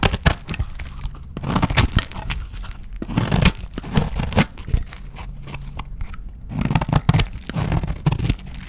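A utility knife blade scrapes and shaves flakes from the edges of a small, solid, dry, rounded-square cream soap bar with a blue painted edge, held in the hand. Dry, crunchy scraping and tearing strokes come in uneven bursts with brief pauses between them. Each stroke has a low, full body and a crisp, papery top.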